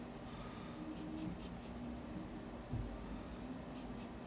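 A yellow wooden graphite pencil is drawn lightly across the white paper page of a large spiral-bound sketchbook lying on a desk, sketching lines. The result is a quiet, steady scratching with a low background hum and brief bright stroke bursts, plus one slightly louder soft bump near the middle.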